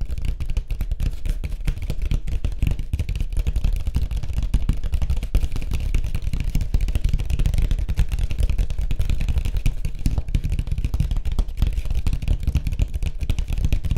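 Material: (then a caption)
Fibreglass. Fingertips tap rapidly on a white surfboard. The result is a dense, continuous patter of short, deep thuds with almost no bright content, and each tap dies away almost instantly.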